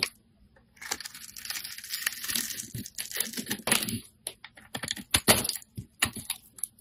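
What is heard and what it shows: A metal utility blade scrapes and shaves the surface of a hand-held, solid, bright green soap bar. After a brief quiet start, a steady, crisp, bright shaving rasp runs for about three seconds, then breaks into short, sharp scraping strokes with gaps between them. The sound is dry and crumbly, with little low end.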